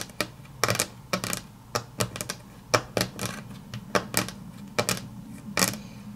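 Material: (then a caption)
Laminate. Long natural nails tap quickly on a flat, solid grey wood-grain laminate tabletop, making a rapid, uneven series of sharp, bright clicks with very short decay. A faint music tag and a low hum sit underneath.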